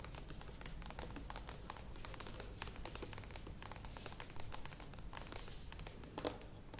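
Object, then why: Plastic yogurt tub with lid. Long nails tap and scratch the curved sides of a medium plastic yogurt tub with a lid, standing on a table. The result is a quiet, steady stream of quick, dry plastic clicks and brighter scratchy rasps over a low, soft rumble.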